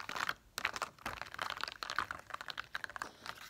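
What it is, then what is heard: Plastic dome stickers. Long nails tap and scratch the raised domes on a thin sheet of plastic dot stickers held up in both hands. The result is a rapid run of crisp, dry clicks and crinkly scratches that sit mostly in the upper-mid range with no ring, broken by a short pause about half a second in.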